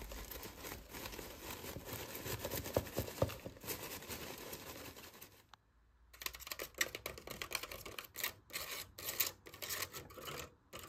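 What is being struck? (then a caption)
Small plastic cup holding artificial flowers. Fingertips and nails tap and scratch the outer side of a small yellow plastic cup holding artificial flowers. The result is a stream of dry, crisp scratches and light clicks at an uneven pace. A brief near-silent pause falls midway before the scratching resumes.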